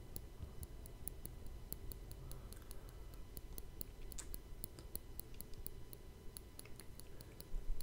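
A fingertip and nail tap and scratch the top of the rounded, hollow woven steel mesh grille of a Blue Yeti microphone. It makes a quiet, steady run of sharp, bright ticks over a low, dense rumble. A slightly louder burst comes near the end.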